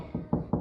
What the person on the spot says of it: you go over here it gets a little higher